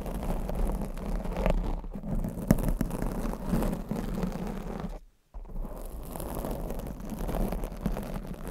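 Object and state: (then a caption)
Foam microphone windscreen scratched and tapped. A black foam microphone windscreen is scratched and tapped with long acrylic nails, giving a dense, low, muffled rumble of rubbing and soft thuds with occasional sharper taps. The sound cuts to near silence for a moment just past the five-second mark, then the scratching resumes.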